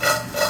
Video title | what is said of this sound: Crispy Homestyle Fries | and mix it well. You can hear the crunch.